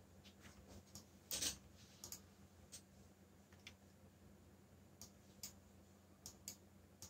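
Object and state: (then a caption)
Plastic mechanical keyboard. Fingertips with short nails type on a backlit mechanical computer keyboard with black plastic keycaps bearing Korean and English legends. Twelve quiet, bright, short key clicks come at an uneven pace over a faint low hum. The loudest, fuller click lands near the 1.4-second mark.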